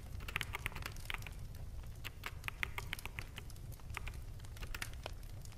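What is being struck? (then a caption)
Plastic mechanical keyboard. Fingertips of both hands type rapidly on a full-size black mechanical keyboard with plastic keycaps. The result is a quick, irregular stream of short, dry clicks with bright clacks around 2 kHz. A soft, steady low rumble runs underneath at a quiet overall level.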